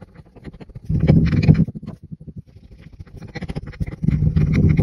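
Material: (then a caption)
Sand. A wooden muddler is repeatedly pressed and tamped into pink and green kinetic sand in a tall clear glass pint cup, crushing and packing it. Soft, low, muffled thuds repeat at a quick, uneven pace, swelling into denser, louder crunching bursts near the start and again toward the end.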